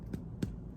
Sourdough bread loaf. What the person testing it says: it's quite done sounds hollow when you flick it